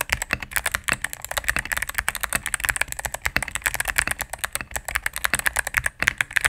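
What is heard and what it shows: Rapid typing with fingertips and medium nails on a cream full-size mechanical keyboard with plastic keycaps on a solid plastic case. About forty quick, crisp clacks sound in a steady stream, each bright with a midrange body near 1.7 kHz, decaying almost instantly with little low-end thump.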